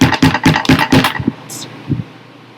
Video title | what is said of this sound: Being a Scientist | nothing rattles when i shake it but when i knock it the thud sound